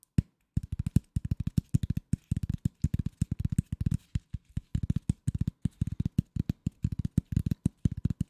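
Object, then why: Corrugated cardboard sheet. Fingernails scratch a flat piece of corrugated cardboard lying under the mic, producing a rapid run of short, dry scraping strokes in uneven bursts. Each stroke is a low, muffled thud-like rasp with a faint bright edge, and none of them rings on.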